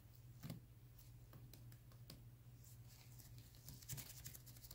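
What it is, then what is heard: Plastic gel bottle. Both hands in black nitrile gloves tap and scratch with their fingertips along the sides of a clear plastic Vitamin E gel bottle of about 12 oz that appears full of yellow gel. Soft, bright ticks and scratchy patter sit over a steady low hum, with a couple of fuller taps standing out near the start and the end.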